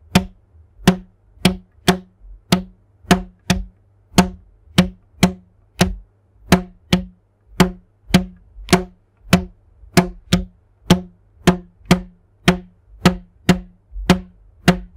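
A thin red elastic rubber band is stretched taut between the hands and plucked with a fingertip so it vibrates. It gives 28 short twangs at a low pitch around 180 Hz, each snapping on with a bright attack and dying away almost at once. The plucks come at an uneven, unhurried pace with near silence between them.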